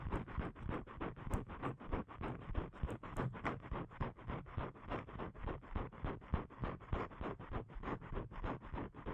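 Fingernails scratch the surface of a thin, flat blue paper card (cardstock) held in both hands. Quick, dry scratching strokes repeat at about three per second, each a short rasp with a dull low thump and no ring.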